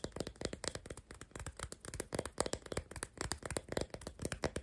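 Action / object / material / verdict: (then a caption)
tap / sticks of sidewalk chalk / chalk / none. Four unwrapped, solid, hand-sized crayon-shaped sidewalk chalk sticks in pink, green, orange and lilac are held together in one hand while long black nails tap and scratch their rough surfaces. A fast, steady run of short, dry clicks with a faint woody ring around 500 Hz and light scratchy texture fills the quiet clip, each tap dying away almost instantly.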